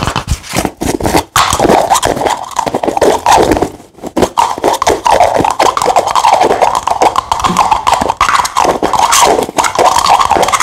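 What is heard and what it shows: Fingertips and short nails rapidly tap and scratch the base, sides and white cap of a clear plastic drinking-water bottle with a green label, apparently empty or nearly empty. The result is a dense, nearly continuous stream of hollow plastic clicks and crinkly scrapes centred on a mid-range tone, with only a brief lull near the four-second mark.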